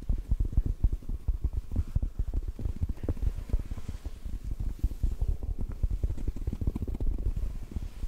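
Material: Foam.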